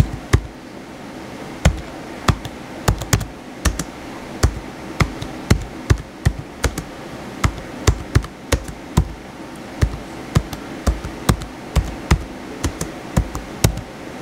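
Fingertips type and tap on the white plastic keys of a blue plastic laptop keyboard. Short, sharp clicks and dull taps land at an irregular, unhurried pace, each dying away almost instantly. A low, steady rumble sits underneath throughout.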